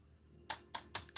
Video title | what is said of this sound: Rock exchange, new meteorites, and hangout! | sounds like plastic feels like plastic